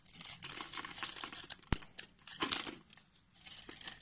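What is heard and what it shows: A box-cutter blade scrapes across a solid white bar of soap, scored into thin layers and held in one hand, shaving off flaky slivers. The result is a bright, dry, crinkly scraping, with one sharp click partway through and brief quiet gaps between strokes.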